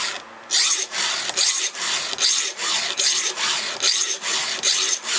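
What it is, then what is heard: Steel chainsaw chain being filed. A round steel file is pushed across a cutter tooth of a solid steel chainsaw chain held with the fingers. After a brief quiet start, a steady run of bright, hissing rasp strokes repeats at a regular pace. Each stroke is a harsh scrape that cuts off sharply between passes, with almost no low end.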